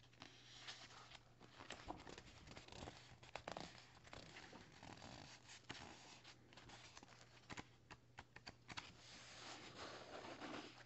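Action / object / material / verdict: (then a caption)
scrape / paperback book paper pages / paper / none. Fingertips and short nails scratch and tap across the thin printed pages of an open paperback novel lying flat. The result is a steady run of dry papery scratching, broken by sharp little taps and crinkly rustles. A faint, constant low hum sits underneath.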